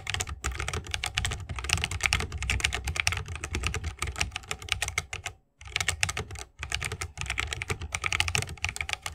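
Fingertips of both hands type rapidly on a 60% mechanical keyboard with a bamboo wood case, plastic keycaps and tactile switches. The clip is a dense stream of short, sharp clacks with a low thock beneath bright clicks, pausing briefly around the middle before resuming.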